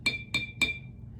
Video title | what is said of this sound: Little Einsteins: The Science of Sound! | that has the most water made the lowest tone or the lowest pitch